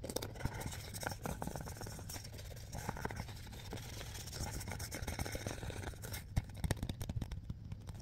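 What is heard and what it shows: A hollow, hand-sized Mr. Bean DVD case with a plastic shell and printed sleeve is gripped quickly and tapped by fingertips. A rapid, steady stream of short, dry taps and scratchy rustles continues throughout, with a low, hollow thump under the clicks. A few sharper taps stand out near the end.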